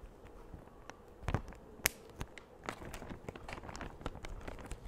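A large, empty, thin clear plastic bag is held up in both hands and stretched, pulled and crinkled by the fingers close to the mic. Soft, continuous crinkling is broken by sharp, bright crackles, with the loudest snaps near the start and middle.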